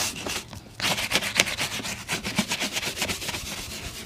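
A bristle shoe brush is swept briskly back and forth over a brown leather boot. It makes a rapid run of bright, hissy scrubbing strokes after a brief pause near the start.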